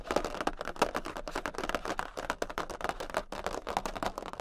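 A large, thin cardboard Queen of Hearts playing card, held tilted, is tapped very quickly with long pink nails on both hands. The result is a dense, continuous patter of short, dry clicks with a papery, mid-pitched tone and almost no ring.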